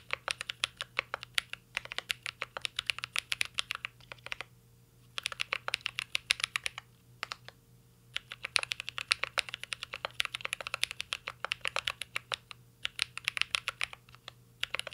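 Two hands type steadily with their fingertips on a full-size mint-green Cyberboard R3 mechanical keyboard with a metal case, plastic keycaps and Holy Panda switches, resting on a desk. Quick, bright clicks and clacks come in rapid bursts with brief pauses between them, each keystroke short and dry with almost no ring, over a faint low hum.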